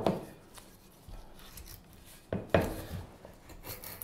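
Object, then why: Light wooden spoon blank shaved with a steel knife. A straight steel carving knife shaves a solid, light wooden spoon blank, probably basswood and about 25 cm long, held in gloved hands. Short, dry cutting and scraping strokes sound with a soft low thump and brief crisp bites against quiet gaps. The loudest cuts come near the start and again midway.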